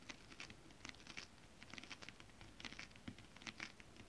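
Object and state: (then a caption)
Holographic scale-printed fabric. Long acrylic nails on both hands tap and scratch a flat sheet of shiny holographic mermaid-scale-printed fabric. The result is a quiet, irregular run of crisp, bright clicks and crinkly scratches with almost no ring after each touch.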